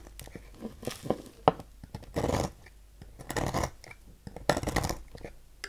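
A knife blade cuts long thin slivers off the end of a solid purple oval Doxa bar soap on a table. Soft, dry scraping shaves come in bursts between quiet pauses, with a few sharp clicks of the blade and light rustling.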